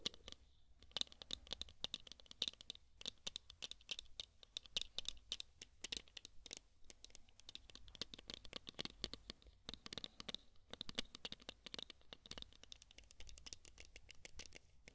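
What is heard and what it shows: A small pair of dark sunglasses with a thin, hollow plastic frame and tinted lenses is held in both hands close to the microphone while fingertips and nails scratch and fiddle with the frame and arms and fold the hinges. A dense stream of quiet, dry scratches and sharp little clicks follows, mostly bright and high-pitched with a faint steady high tone running through, each tick dying away instantly.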